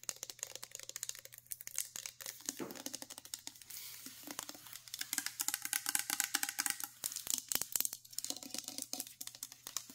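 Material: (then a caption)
Steel. Long nails rapidly tap and scratch the paper label, rim and bottom of a full 398 mL steel can of chickpeas. The result is a dense stream of sharp, bright clicks mixed with crinkly, papery scraping over a faint steady low hum. Each tap dies away almost instantly.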